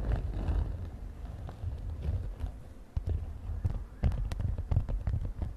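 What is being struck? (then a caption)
Glittery synthetic fabric zip pouch. Long nails tap and scratch a mint-green glittery synthetic fabric makeup pouch with a zipper. The result is a close, muffled rustle of dull, low thumps, with a few sharper clicks standing out in the second half.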